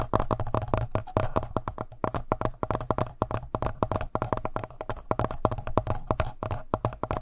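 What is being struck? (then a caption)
Plastic handheld audio recorder. Fingertips and nails tap quickly on the screen and button area of a hollow black plastic Tascam handheld audio recorder. The result is a rapid, steady stream of short, dry clicks and knocks, each with a hollow low thump and a mid-range tick that stop almost instantly.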